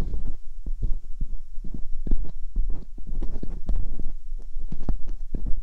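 Thin metal dental picks scratch inside both ear canals of a white binaural microphone with two silicone ears. Up close this comes through as a muffled, bass-heavy stream of soft thumps and rubbing scrapes, with a steady low hum underneath and almost nothing in the high range.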